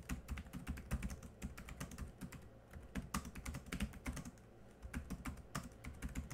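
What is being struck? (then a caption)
Plastic laptop keyboard keys. Both hands type quickly with their fingertips on a laptop keyboard with black plastic keys. It makes a fast, steady stream of short, dry clicks and taps with a soft low thud under each keystroke. The typing eases briefly a few times, then resumes.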